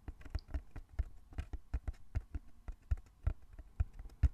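Fingertips tap quickly on the sides of a small, closed, hollow brown cardboard box held in both hands. The result is a rapid, uneven patter of soft, dull, low thuds that stop short, with almost no bright content.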